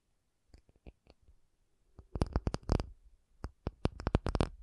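An acrylic object is tapped with quick, irregular taps: a few soft, sparse ones at first, then louder clusters of taps. Each tap gives a short, dry knock with a low thudding body and a bright clicky edge that dies away almost instantly.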